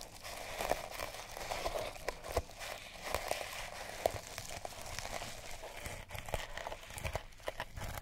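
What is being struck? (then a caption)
Sisal rope cat toy. A mouse-shaped cat toy wrapped in colored sisal rope is held in the hand and scratched along its rope coils with long nails. The result is a steady, dry, crinkly scratching texture broken by many short, sharp ticks.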